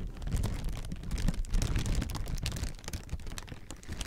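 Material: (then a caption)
Plastic. Clear plastic air-pillow packing with inflated chambers is squeezed and crinkled with fingertips. Its dense, continuous crinkling has a heavy low, muffled rumble underneath, with sharp, bright crackles scattered across the whole clip.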